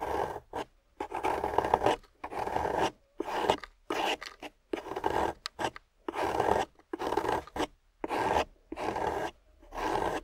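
A small metal loop tool carves a solid, water-soaked grey clay slab, peeling curls of clay off its surface. It makes a steady series of soft, gritty scraping strokes centred in the midrange, each separated by a brief silence.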